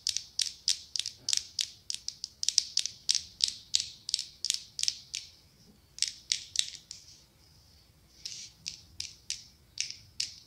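Long acrylic nails tap and scratch the ribbed glass of a medium pumpkin-shaped glass candle jar filled with orange wax. About thirty quick, bright, high clicks come in rapid runs, with a softer scratching stretch in the middle. Each tap dies away almost instantly, with no low body.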